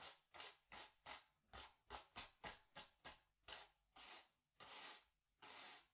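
A wide bristle brush with a wooden handle scrubs blue paint across a small white stretched cotton canvas on a wooden stretcher frame, hollow behind, in rapid strokes. Thirteen dry, bright scratchy swishes are heard, short and quick at first, then longer and fuller toward the end, with little low end.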